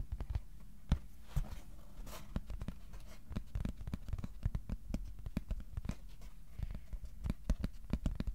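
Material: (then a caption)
Cardboard. A flat, thin white cardboard sheet about A4 size, held on the lap, is tapped with the fingertips of both hands. The result is a steady patter of soft, dull, low thuds that die away almost instantly, with light papery scratching between them.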